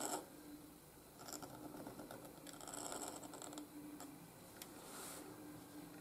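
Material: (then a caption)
Paper. A steel dip-pen nib in a wooden holder scratches across a flat white gridded paper sheet while writing cursive strokes. The result is a quiet, dry, bright scratching in short bursts and longer drawn strokes, over a faint steady low hum.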